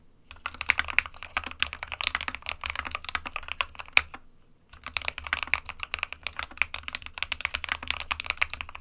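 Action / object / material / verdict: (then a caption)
tap / plastic mechanical keyboard / plastic / none. Both hands type rapidly with their fingertips on an SK61, a small 60% mechanical keyboard with a white plastic case and plastic keycaps, resting on a printed desk mat. The sound is a dense stream of quick, bright, clicky plastic key taps that die away almost instantly. A brief pause near the middle breaks the steady typing before it resumes.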